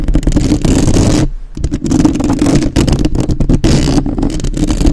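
Long nails on both hands tap and scratch fast on the metal mesh grille of a black, uncovered microphone. The result is a dense, rapid stream of muffled, boomy thumps and scraping rustles, heavy in the low end, with a brief lull near the one-and-a-half-second mark.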